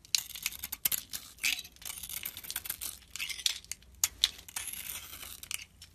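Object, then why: Glitter-coated soap bar scraped with a metal blade. A metal blade scrapes the blue glitter coating off a solid oval soap bar with a cream core, held in the palm, lifting it away in flakes. Many short, crisp, bright scraping and crackling strokes follow one another quickly, with almost no low end. Each stroke ends abruptly, with little ring.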